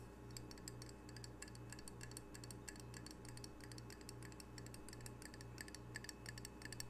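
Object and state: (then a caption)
Ceramic tile coaster. Fingernails tap rapidly on the glazed face of a single small, solid, square ceramic tile coaster with red octopus art, held in the hands. Quick, bright, clicky taps come in irregular bursts over a steady, pulsing low hum.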